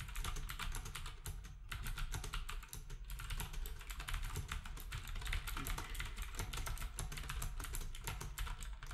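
Fingertips type steadily on a black compact plastic typewriter-style keyboard with round plastic keycaps while other devices nearby sit untouched. Quick, dense keystrokes blend into a continuous patter of short clicks. Each has a low thump underneath and a bright tick on top, and dies away almost instantly.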